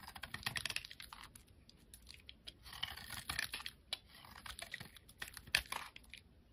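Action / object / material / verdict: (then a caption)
scrape / glycerin soap bar carved with a metal blade / glycerin soap / none. A metal craft blade scrapes and carves thin curls and cubes off a solid, palm-sized, amber translucent glycerin soap bar held in one hand, with the shavings piling up around it. Crisp, bright scraping strokes mix with quick dry clicks and ticks, coming in short bursts with quiet gaps between. The sound is light and high-pitched, with almost no low end and very short decays.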